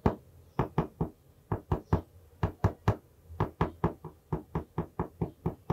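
A plastic marker taps and knocks the hardboard cover of an A5 notebook held at an angle beside the mic. About 21 dry, short knocks land in uneven groups, each a dull, low thud that stops almost at once with no ring.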